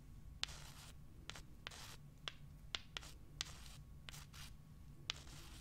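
Small, solid, pale limestone rocks held in the fingers are scratched with long nails across their rough surface and rubbed together. The result is a series of short, bright, gritty scratching bursts punctuated by sharp, dry clicks. A low, steady background hum runs underneath.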